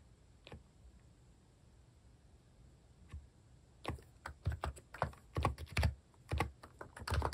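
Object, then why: Keyboard with plastic keycaps. Fingertips type on the plastic keycaps of a mechanical keyboard. After two isolated taps early on, a quicker, irregular run of keystrokes begins near the four-second mark, each a short dull thock with a low-heavy body and a brief clicky edge that dies away fast in a quiet space.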